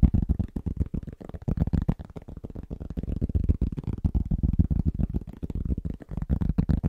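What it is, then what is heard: Round cork trivet. Both hands' fingertips tap rapidly on a large, thin, solid round trivet of pressed cork. The taps land as a fast, uneven patter of soft, dull thuds, deep and muffled, with no bright edge and almost no ring after each touch.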